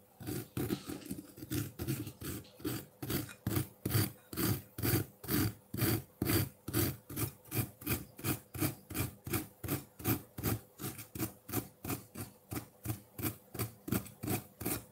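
A metal fork scrapes a solid block of colored ice in a white ceramic bowl, leaving loose ice shavings. About forty quick rasping strokes repeat in a steady rhythm, each a short gritty scrape with a low body and a bright, crunchy edge.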